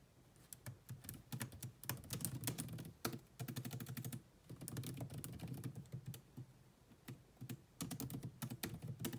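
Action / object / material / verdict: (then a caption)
tap / laptop keyboard with plastic keys / plastic / none. Two hands with long nails type steadily on the black plastic chiclet keyboard of a grey laptop, making quick, soft taps with a low thud and a bright click. The typing comes in dense bursts broken by short pauses, and each tap dies away almost at once.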